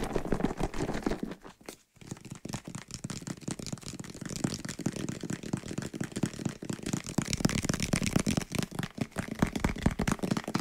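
Fingernails tap and scratch the side of a white plastic bottle partly full of soapy water while it is shaken. A dense run of quick, dull clicks and scratchy rustles with a low, sloshing body goes on throughout, broken only by a brief silence near two seconds.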